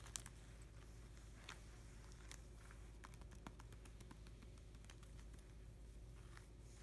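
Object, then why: Clear plastic card sleeve page holding cardboard cards. Fingertips and short nails of both hands tap and rub across an open binder page of clear plastic pocket sleeves holding cardboard hockey cards, the page lying flat on the binder. Soft, quick clicks and bright crinkles of the plastic are scattered over a steady low hum at a quiet level.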